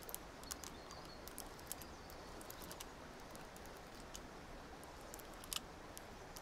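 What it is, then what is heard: Plastic puzzle cube. A small black, white and yellow plastic gear puzzle cube is held in both hands while its faces are twisted and tapped with long nails. Scattered sharp, bright clicks rise over a steady, quiet broadband hiss, with a brief pair of louder clicks near the end.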